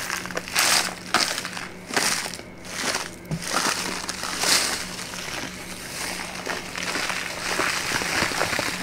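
A small, empty brown kraft paper bag held open in the hands is squeezed, crinkled and tapped with fingertips and long nails. Bright, dry crinkling and crunchy crackles come in repeated bursts, with the energy mostly high and very little low end. Quick clicks of the nails sit among the rustling paper.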